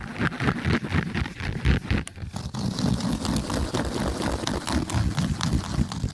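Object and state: Woven jute slipper being scratched.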